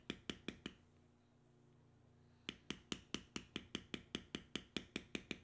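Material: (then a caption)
Leather. A metal stamp held upright in the fingers is tapped repeatedly into a solid tan vegetable-tanned leather strip with knotwork, resting on a stone surface. Four quick, sharp, bright taps are followed by a pause of nearly two seconds, then fifteen more evenly spaced taps, nineteen in all. Each tap is short with almost no ring.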